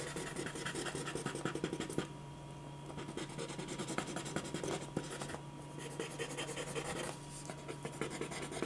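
A clear plastic ballpoint pen scratches rapid hatching strokes across a single thin white sheet of drawing paper lying flat on a dark board. Quick, dry, bright scratching strokes come in dense bursts, with short quieter pauses around 2, 5 and 7 seconds, over a faint steady low hum.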